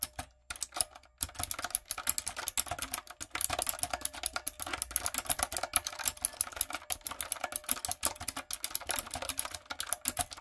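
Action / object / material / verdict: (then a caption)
tap / plastic mechanical keyboard keys / plastic / none. A typewriter-style plastic mechanical keyboard with round plastic keycaps and lights is typed on with fingertips and long acrylic nails. The result is a steady stream of fast, dry, bright clacks with almost no ring, broken by a few short pauses.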